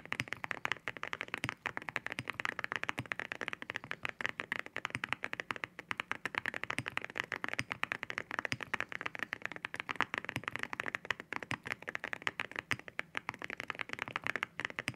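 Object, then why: Mechanical keyboard with ceramic keycaps. Fingertips type steadily on a white 65% QK65 mechanical keyboard fitted with ceramic keycaps, with spare keycaps lying untouched on the desk. The keys give dense, sharp clacks with a bright, glassy click, centered in the upper mids with very little low end. Each keystroke dies away almost instantly, giving a rapid, continuous patter.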